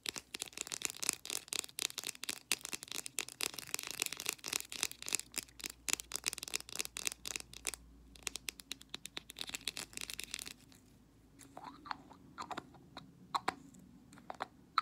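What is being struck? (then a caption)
Small plastic jar with a lid. Long black nails rapidly tap and scratch around the blue lid and body of a small white plastic petroleum jelly jar held in the fingers. Dense, bright clicking and scraping fill the first ten seconds, then the taps thin out into sparser, crisp clicks.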